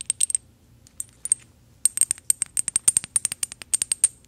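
A small gold metal decorative bottle, held in the hand, is tapped with paperclip fake nails. The result is a quick, irregular series of sharp, bright metallic ticks with a high ring that cuts off almost instantly, coming in sparse clusters at first and then a denser run.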